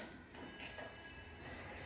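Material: Nothing is struck.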